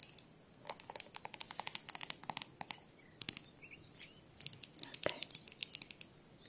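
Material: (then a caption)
Glass. Long nails tap and scratch a small ribbed glass jar, with yellowish contents and a glass stopper lid, across both the lid and the body. About three dozen quick, bright, high-pitched clicks come in irregular bursts, each dying away almost instantly, with faint scratchy sounds between them.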